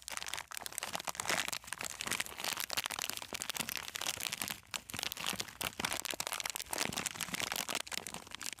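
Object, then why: Plastic-film snack bag holding coated peanuts. A sealed plastic-film snack bag full of coated peanuts is held horizontally in both hands and squeezed and rubbed with fingertips and nails. It makes a steady stream of bright, crackling crinkles and crunches. Brief quieter dips break up the sound.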